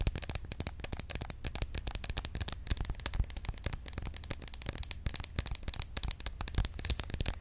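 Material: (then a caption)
Plastic. A small, hollow green plastic roll-on deodorant bottle with a plastic cap is held sideways in both hands and tapped quickly with long acrylic nails. The result is a dense, rapid stream of dry, bright clicks with no ring, over a faint low rumble.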